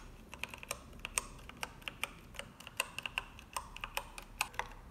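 Long manicured nails and fingertips type quickly on a full-size cream and grey mechanical keyboard with plastic keycaps. About 25 sharp, bright clacks and taps come in an uneven rapid rhythm, each dying away at once over a faint steady hiss. There is little low-end weight.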